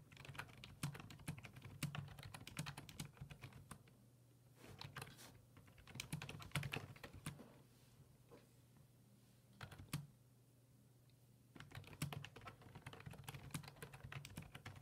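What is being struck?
Plastic desktop keyboard.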